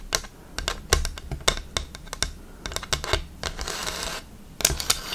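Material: Bamboo.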